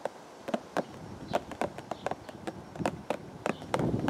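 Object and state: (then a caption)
Cardboard teacake box. A hollow purple and white printed cardboard teacake box, held against the chest, is tapped with the fingertips of both hands. It gives a quick, irregular run of soft, dull knocks with a hollow midrange tone, each dying away almost at once. Steady faint background noise sits underneath and grows a little louder near the end.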